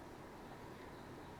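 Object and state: Nothing is struck.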